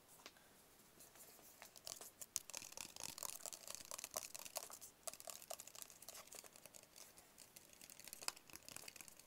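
Fingertips and nails tap quickly across a small, hollow, white rigid paperboard phone box held in both hands. The result is a dense run of dry, bright clicks and scratchy taps with almost no low end and no ring, broken by a brief lull near the middle.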